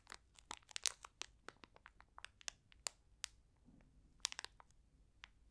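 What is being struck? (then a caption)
Plastic-film candy bag. A small printed plastic-film Trolli Berries bag, sealed and full of gummy candies, is held in both hands and squeezed and crinkled with fingertips and long red nails. Quiet, bright, dry crackles and crinkles pop out in irregular bursts, with quick taps and short pauses between them. Each sound cuts off almost instantly, with hardly any low end.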